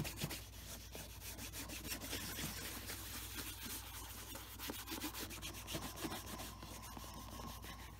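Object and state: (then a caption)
Leather boot being rubbed with a cloth. Fingertips wrapped in a cloth rub cream onto the toe cap of a hollow tan leather brogue boot. A steady, soft rubbing and swishing carries on throughout, with brighter scuffs over a low constant hum.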